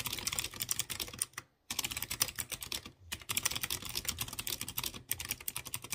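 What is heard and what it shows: Fingertips with dark nails type on a light blue plastic mechanical keyboard with round chrome keycaps on clear-housed blue switches. A rapid run of sharp, bright, clicky key taps is broken by short pauses near 1.5 and 3 seconds and a brief gap around 5 seconds, and each tap is dry and fades almost instantly.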